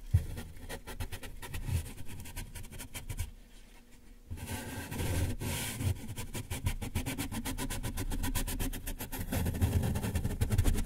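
A yellow sponge held in the hand is rubbed and scratched along the right side of a large, closed, taped corrugated cardboard box that is hollow, its contents not visible. Fast, uneven scratchy strokes carry a deep, hollow thrum from the box, with a short quieter gap near the middle before the rubbing resumes.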